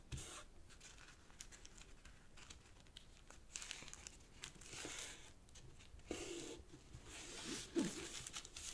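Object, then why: Sheet of origami paper. A sheet of purple origami paper resting on a black cloth-covered table is folded by fingertips that then rub along its crease lines. The result is soft, irregular crinkling and rustling with bright, papery bursts. A few louder scrapes stand out near the end.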